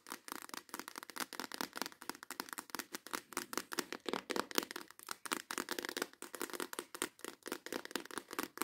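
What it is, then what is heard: Clear plastic organizer box. Long acrylic nails tap and scratch rapidly over the lid and sides of a clear plastic compartment organizer box holding nail tips. The result is a quiet, fast, continuous run of dry clicks and scratchy rasps with no bass, a bright edge and no ring after each tap.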